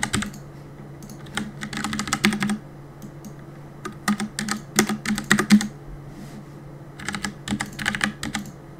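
Fingertips type on a black plastic Cooler Master compact mechanical keyboard with a hollow body, resting on a wooden desk. Rapid bursts of sharp, clacky keystrokes with a hollow low thock come in quick flurries separated by short pauses. A faint steady low hum runs underneath.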